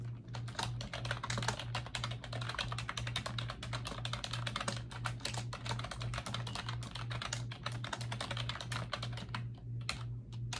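Fingertips with long acrylic nails type rapidly on a pink plastic computer keyboard with round backlit keycaps resting on a desk. The result is a steady stream of quick, bright clicky taps with very short decay over a constant low hum.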